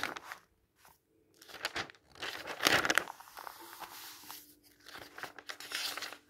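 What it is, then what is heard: Paper catalog pages turned and rubbed. An open thin paper catalog with white text pages lies flat on a table as fingertips turn its pages, then flatten and rub them with the palm. Crisp, bright papery rustles and crinkling crunches come in bursts separated by brief near-silent gaps. The loudest swish falls in the middle, followed by softer, steady rubbing.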